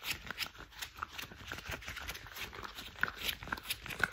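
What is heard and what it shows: Hands wearing thick cream rubber household gloves are rubbed together and interlocked. The result is a quiet, continuous run of soft squeaks and rubbery friction, with bright, crisp sharp creaks and short squeals rising out of the rubbing throughout.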